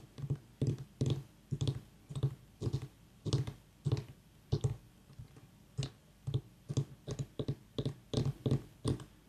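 A whole white ribbed mini pumpkin is held steady with one hand while the fingernails of the other tap and scratch near its stem. The result is a steady series of short, dull, low-pitched knocks with very little ring, separated by quiet gaps, with faint scratching between some taps.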